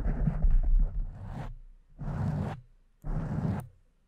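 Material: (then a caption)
Foam. Long nails scratch and rub a pink foam microphone windscreen with both hands, making close, muffled, low rumbling scrapes. A longer stretch of rubbing is followed by two shorter bursts, each fading quickly into silence.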